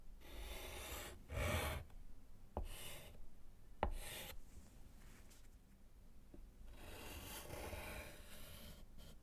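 A gloved hand writes and underlines with yellow chalk on a small, flat, solid slate chalkboard in a wooden frame, producing bursts of dry, scratchy rasping. Three sharp taps of the chalk stand out between the strokes. Each scratch is broad and hissy over a low rumble and stops almost instantly.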